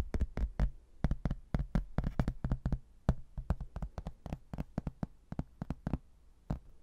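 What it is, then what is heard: Laminated hardboard placemat. A rigid laminated hardboard placemat, a solid thin board with a printed manor-house photo and a blue textured border, is held in both hands and tapped and scratched with fingernails. About thirty quick, dry taps land in an irregular rhythm, each a short, deep knock with a sharp click on top that dies away almost instantly. Faint scratching fills the quiet gaps between them.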